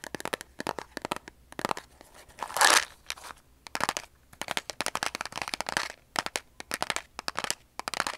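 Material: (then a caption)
Cardboard. A large Diamond Greenlight strike-on cardboard matchbox, hollow and likely full of wooden matches, is held in both hands above a table and tapped and scratched with long polished nails. Dozens of quick, dry, crunchy taps come in clusters with short pauses, and a louder, bright scratching rasp swells briefly near the third second.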